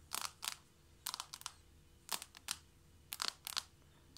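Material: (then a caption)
Wood. Long nails of both hands tap quickly on a flat wooden or laminate floor just in front of a knit mat. The sound is quick bursts of crisp, bright clicks in short clusters with quiet gaps between them. Each tap is dry and dies away almost at once.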